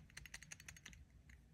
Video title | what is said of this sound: Visconti Millennium Arc - Rainbow Fountain Pen | you can hear that when you shake it it's like feels like it's loose